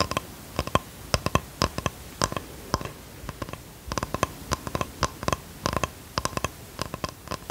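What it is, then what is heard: Light wooden box. A small flat box of light plain wood, held close to the microphone, is tapped and scratched with long fingernails. Dozens of quick, dry taps come in uneven bursts, each with a short hollow knock around 1 kHz and a bright click on top. Soft scratching fills the gaps between them.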